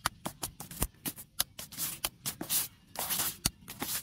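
Two handheld scrub brushes with white and pink plastic bristles rub and scrub fast over a large, solid, rounded log or trunk with rough grey bark. The result is a quick, irregular run of bright, hissy bristle scrapes, with sharp, short clicks mixed among longer rasping swipes.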